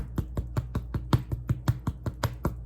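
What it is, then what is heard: Baked-through sourdough loaf, hollow. A freshly baked sourdough loaf, baked for 60 minutes, is tapped in a steady series of 13 quick, dull, hollow low thuds with almost no ring. The hollow sound shows the loaf is done.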